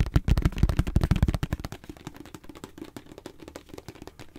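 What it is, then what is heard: Plastic squeeze tube. A hollow, hand-sized white plastic face-wash tube is sharply tapped with fingernails in a rapid, uneven flurry. The taps are short, dry and low-pitched: heavy, booming thumps for the first second and a half, then softer, lighter clicks that continue to the end.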